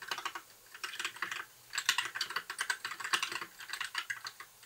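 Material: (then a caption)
Plastic. Fingertips of both hands type continuously on a compact white 60% mechanical keyboard with plastic keycaps and an RGB backlight. Rapid, bright plastic clacks come in quick bursts, separated by brief pauses. Each keystroke is short and crisp with almost no low end.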